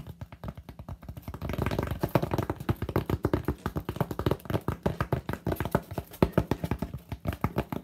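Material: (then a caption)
Polystyrene foam. Fingertips of both hands rapidly tap the flat face of a solid white expanded polystyrene (styrofoam) slab held upright, in quick typing-like taps. Dozens of short, dull, hollow taps run steadily, each thudding low, around 168 Hz, with almost no brightness and no ring, swelling slightly louder partway through.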